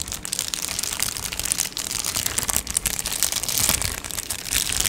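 A medium-size, hollow Amazon Prime padded plastic mailer is held in both hands while long nails scratch and tap across its surface. The result is a dense, bright crinkling and scratching texture at a fairly steady level, with many quick taps briefly rising above it and little low end.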